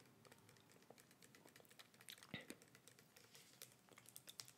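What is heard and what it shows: Long red fingernails tap quickly on the red-and-white label and the cap end of a small clear plastic bottle, which is held horizontally and rotated in the hands. The result is a dense stream of quiet, bright, dry clicking taps with a few louder clicks along the way.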